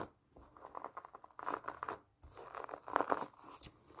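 Long painted nails tap and scratch the rind of a large pomelo through an orange plastic mesh net, held close. Dry, crinkly scratching and quick taps come in bursts, with brief near-silent pauses between them.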